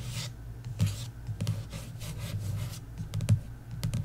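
Long nails tap and scratch across the embossed card cover of a paperback novel, *The Inheritance Games*, lying flat. The sound is a run of soft, dull taps with a low body, mixed with brief bright scratchy swishes as the nails drag over the raised details.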